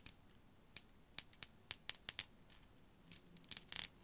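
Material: Glass.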